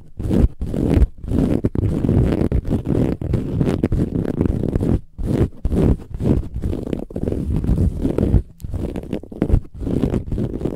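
Long pointed nails scratch a large, soft, filled cushion with a silver-gold textured woven metallic fabric cover. The result is a dense, muffled scraping rumble, mostly low in tone, in rapid bursts broken by brief silent gaps.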